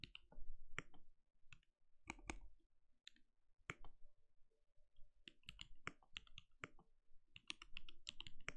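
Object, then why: Mechanical keyboard with plastic keycaps. A compact RGB-lit mechanical keyboard with a translucent plastic case and plastic keycaps sits on a desk and is typed on steadily with the bare fingertips of both hands. The keystrokes come as quiet, irregular clacks, each with a deep thump and a bright click that dies away almost at once.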